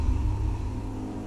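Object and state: Nothing is struck.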